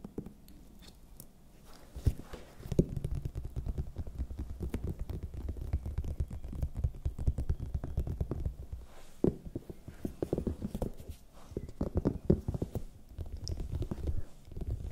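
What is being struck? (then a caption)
Whole bell pepper. A large, hollow, whole red bell pepper is held in one hand while fingertips and nails tap rapidly across its skin. The taps are soft, dull, low thuds with a slight hollow knock and almost no ring, running in a dense, uneven patter for the whole clip with a few sharper clicks standing out.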